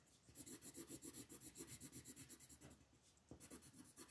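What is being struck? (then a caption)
Wooden colored pencil on a thin paper page over a wooden table. An orange wooden colored pencil is rubbed back and forth in quick, scratchy shading strokes across a thin printed paper coloring book page lying flat on a wooden table, while the other hand, with long nails, holds the page. The result is a steady, rhythmic raspy scratching of about four strokes per second, bright and papery with a soft woody low end. The strokes briefly quiet near the end before resuming.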